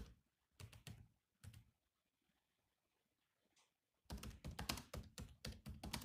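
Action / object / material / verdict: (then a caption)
tap / laptop keyboard with plastic keys / plastic / none. Fingertips tap the black plastic keys of a grey laptop keyboard. A few scattered, soft clicky taps give way to a near-silent pause, then a quick, dense run of continuous typing. Each keystroke has a short, dull low thump and a bright click on top.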